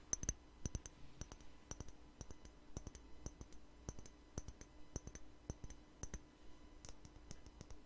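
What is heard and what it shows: A small clear glass spray bottle with liquid inside is held in the hand and tapped with fingernails. The result is a quiet, irregular run of short, sharp clicks with a bright high ring over a low steady hum.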